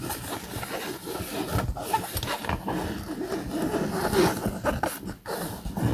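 Fingernails scratch across a camouflage polyester fabric bag, making a steady, dry rustling scrape. The sound stays mostly in the low-mid range with little bright content, swelling and dipping briefly as the strokes change.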